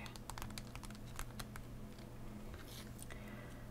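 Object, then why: Plastic blister pack on cardboard backing. A hollow plastic blister pack on a cardboard backing, lying flat, is tapped with nails and fingertips. A quick run of light, sharp ticks and clicks sounds over a steady low hum.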